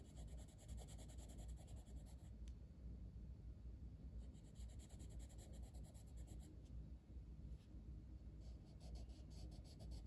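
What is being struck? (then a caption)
Wooden colored pencil on a paper coloring book page. A wooden colored pencil held in the fingertips colors a flat, solid paper page of a coloring book lying open on a table, with a closed pencil tin beside it left untouched. Quiet, steady scratching and rubbing strokes run throughout over a soft low background, with the bright, scratchy pencil texture coming through in repeated stretches.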